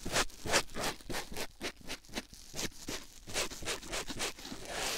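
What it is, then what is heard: Foam sponge rubbed on a silicone ear microphone. A white foam sponge block held in the fingers is pressed and rubbed against a silicone ear microphone. About eleven quick, uneven strokes come through as close, bright, scratchy rubbing bursts, each fading almost at once.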